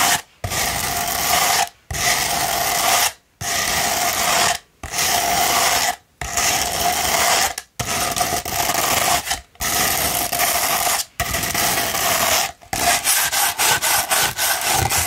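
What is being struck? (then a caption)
Rolled sandpaper tube. Long pointed nails scratch a rolled tube of sandpaper in long, steady, gritty strokes separated by brief pauses. The rasp is bright and dense, with a faint tonal ring around 720 Hz. Near the end the strokes turn into a rapid series of short scratches.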